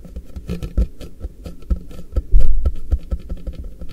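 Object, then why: Polypropylene plastic storage box. Fingertips tap from both sides on an empty-looking, hollow, frosted translucent polypropylene MUJI storage box, its base held flat in front of the recorder. The result is a quick, uneven patter of soft, hollow, low thuds with a deep body around 59 Hz, a faint steady tone above, and a louder cluster of taps midway through.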